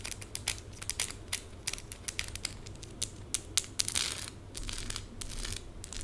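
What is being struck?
Small plastic rhinestone stickers on skin.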